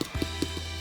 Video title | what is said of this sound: Suckling Pig Roast - How to make Lechon | if you can hear this that's hard